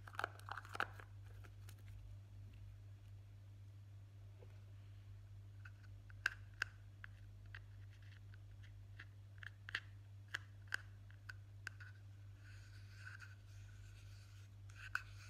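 A small, round, hollow dark-blue plastic Nivea cream jar with a lid is held in both hands and tapped and scratched around its side and lid with fingertips and short nails. Quiet, sharp clicky taps with a brief hollow ring near 1.6 kHz are scattered across the clip, mixed with soft scratching and a bright rustle near the end. A steady low hum runs underneath throughout.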